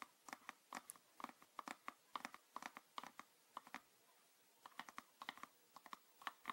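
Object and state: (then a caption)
Plastic bottle. Fingernails tap and scratch near the neck and body of a green PET plastic bottle with a red cap, full of liquid and held upright. Quick, dry, clicky taps sound in bursts with a midrange ring around 1 kHz and brief scratchy textures. There is a short pause partway through before the tapping resumes.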